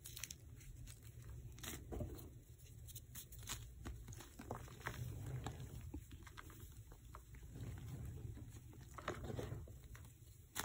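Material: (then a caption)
Chalk. Bare hands scoop and squeeze a mound of dry white gym chalk (magnesium carbonate) powder and small lumps with yellow specks in a black bowl, crumbling the lumps through the fingers. Soft crunching and gritty crumbling crackles come in many quick, short bursts over a steady low rumble.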